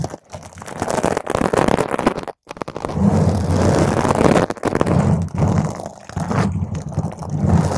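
Long pointed green acrylic nails on both hands scratch a purple spherical foam windscreen on a microphone. The result is a dense, close, rumbling scrape and crunch, heavy in the low end, with a brief silent gap near the middle before the scratching resumes in strong waves.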